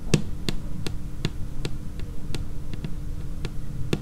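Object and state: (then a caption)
Laminate tabletop tapped with fingernails. Long painted nail tips tap on a large, solid, dark laminated tabletop in a slow, uneven rhythm. Each tap is a short, dry knock with a low, thudding body and a faint bright click, dying away almost at once over a steady low background rumble.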